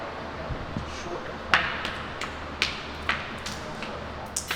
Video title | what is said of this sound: Palm Beach TV: July 8, 2021 | if you hear a hollow spot and you tap it a little bit, kind of gives you an idea that the rebar is kind of going bad and rusted